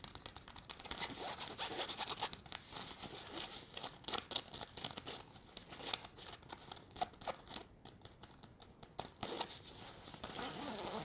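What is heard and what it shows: Long red nails scratch the fabric and zipper pocket of a large, hollow grey nylon backpack held up close. The result is a dense run of quick, dry scratching strokes, bright and hissy with little low end. The scratching swells and eases in bursts throughout.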